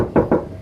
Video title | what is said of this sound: Review kijang kapsul thn 97 luar dalam Istimewa‼ | kita dengarkan kan si ketok-ketok. Ini bukan plastik teman-teman. Ini terbuat dari plat.